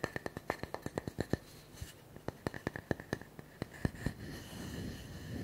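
A round, solid wooden tree slice with a bark edge is held in one hand while fingertips and nails tap and scratch its smooth cut face. About two dozen quick, dry, short taps come in fast bursts with almost no ring. The tapping then gives way to a steady, soft scratching rustle.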